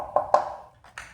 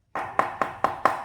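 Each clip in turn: First: thin plastic helmet shell. Second: thick plastic helmet shell.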